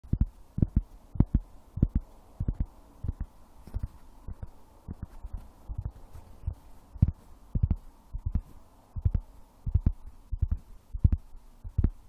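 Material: Wood.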